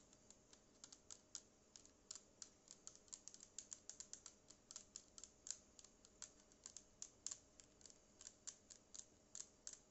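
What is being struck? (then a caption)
Plastic portable speaker casing. Long acrylic nails tap a small black Bluetooth speaker with a hollow, matte plastic body, buttons and a yellow logo. About 42 quick, quiet taps land in an uneven rhythm, each a bright, dry click that dies almost instantly, with very little low end. A faint steady hum sits beneath the taps.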